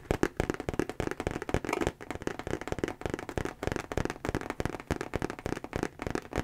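Fingertips and nails rapidly tap and scratch the outer surface of a medium-sized, structured brown Nine West monogram handbag (leather, or possibly coated canvas or faux leather) held upright. The result is a dense run of short, dry clicks and scratchy rustles with almost no ring.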